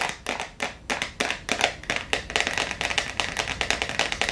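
Long acrylic nails tap fast on the clear plastic screw lid and the top of a medium clear plastic jar full of blue water beads. A rapid, uneven run of sharp, bright plastic clicks with a hollow mid-range knock, each dying out almost at once. There is almost no low end.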